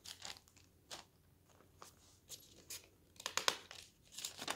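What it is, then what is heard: Paper newspaper. A hand lifts and turns a page of a paper newspaper lying on a table, then fingertips rub along the paper surface. Quiet, bright crinkles and dry rustles come in short, irregular bursts with near-silent gaps between them. The papery scratching grows denser and louder toward the end.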